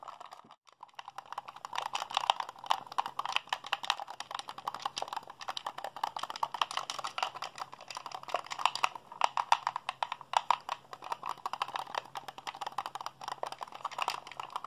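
Fingertips and thumbs rapidly press the buttons, triggers and sticks of a hollow white plastic Xbox handheld controller held in both hands. The result is a dense, fast stream of short, dry plastic clicks and clacks centered in the midrange, with bright edges, almost no ring, and a faint steady low hum underneath.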